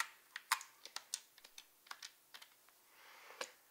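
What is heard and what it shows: A black glossy plastic Wii U GamePad, a hollow handheld controller with a screen, is held in the hand and tapped on its front and screen with long red-painted nails. About fourteen quick, dry, bright clicks come at an irregular pace, each dying away almost at once. A soft, brief rustle swells just before the last tap.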